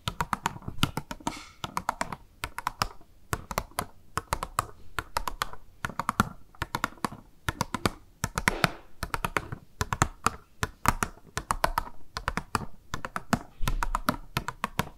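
Long nails tap quickly and steadily on a small, hollow, clear pink plastic blister box with a makeup sponge inside, held in both hands. Dozens of short, dry, clicky taps come in uneven bursts, each with a hollow low thump and almost no ring.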